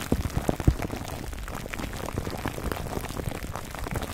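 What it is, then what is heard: Cling wrap over a foam mic cover being scratched. Fingertips of both hands scratch clear plastic cling film wrapped over a black foam microphone windscreen. The result is a steady, dense crinkling and rustling with a muffled, low-heavy tone, with a few louder thumps near the start.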